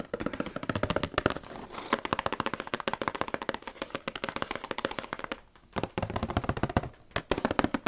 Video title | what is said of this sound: ASMR Collab With @slipintoshadowsasmr479 Tapping & Whispering Ramble | The bottom of the box makes the best sound for me, I think.